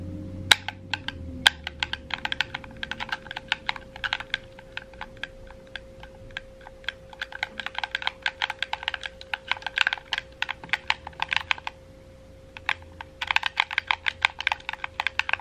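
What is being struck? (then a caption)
Plastic game controller buttons. A red, wired, hollow plastic gamepad is held in both hands while fingertips repeatedly tap and click its buttons and triggers. The result is a rapid, irregular stream of sharp, bright plastic clicks with a brief pause near the end, over a faint steady hum.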